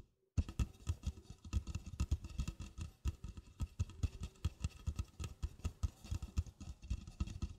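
Long black-painted fingernails tap and scratch the side wall, then the base, of an empty, hollow red plastic party cup of about 16 oz, set upside down on a rug. A steady stream of quick, dull, hollow taps with short scratchy brushes follows. The sound is deep and thumpy with almost no ring, and each tap dies away at once.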